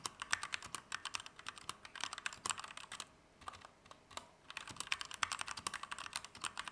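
A compact Keychron K2 V2 mechanical keyboard with Gateron Red switches, plastic keycaps and an aluminum frame is typed at medium speed with the fingertips of both hands. Its key presses make a steady stream of short, bright plastic clacks with almost no low end, and a brief lull near the middle before the typing picks back up.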